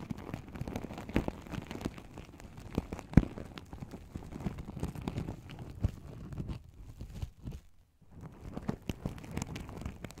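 Fingertips and long nails rub and flip the silver and gold sequins on a small, open, hollow, empty fabric pouch held close in front of the mic. The result is a dense, soft crinkling rustle, weighted toward the low end, with rapid tiny clicks and one sharper snap. It pauses briefly near the end before the rustling resumes.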